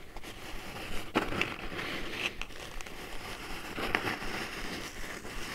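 Long nails lightly tap and scratch on a small, hollow brown kraft cardboard box held in the hands. A few sharp, bright taps stand out over a steady dry scratching rustle, each tap dying away almost at once.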